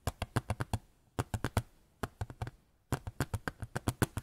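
A small white photo frame is tapped in four quick bursts, about 24 short, dry taps in all, with brief silences between the groups. Each tap is a soft, low-pitched knock with a little high click on top and almost no ring.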